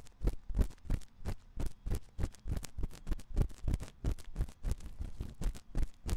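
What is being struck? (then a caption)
Silicone microphone ear scratched with a thin metal pick. A thin metal ear pick, held in the fingertips, scratches inside the ear canal of the white silicone ear on a 3Dio binaural microphone. It makes a steady run of close, muffled, bassy scraping strokes, about three per second and somewhat uneven, each a soft thump with a brief bright rustle on top.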